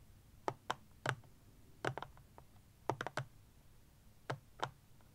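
Fingernails and fingertips tap quickly on the front face of a small, rectangular, black plastic-cased power bank standing upright on a blanket. About ten short, dry clicks come in uneven bursts, each with a low thud and a bright crack that dies away almost instantly.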